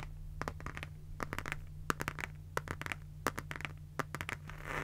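Long nails tap and scratch the surface of a closed, pink, rectangular zippered pencil case made of faux leather with a bunny print. Quick, dry, clicky taps and short scratches land in irregular bursts over a steady low hum, ending in a brighter, hissy scrape.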